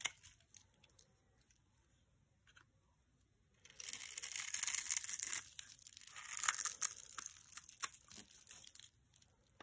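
A metal knife blade scrapes and carves thin shavings off a palm-sized solid green soap bar held in one hand, with the shavings piling up below. Scattered faint clicks give way, a little under four seconds in, to a dense, bright, crunchy scraping that continues with brief dips until near the end.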